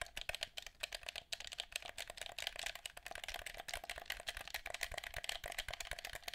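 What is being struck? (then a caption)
Plastic game controller. Fingertips and nails rapidly tap and click the buttons and shell of a hand-sized, hollow black plastic PS4-style gamepad held in both hands, possibly with faint mouth sounds mixed in. The result is a dense, steady stream of short, dry, bright clicks with a hollow plastic rattle and almost no ring.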